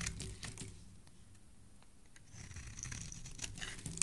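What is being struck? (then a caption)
Bar of soap. A metal blade scrapes along the edge of a solid, speckled teal soap bar held in the hand, producing soft, crinkly shaving sounds with a low rumble underneath. The scraping fades quieter in the middle, then returns brighter and higher-pitched, ending with a sharp click.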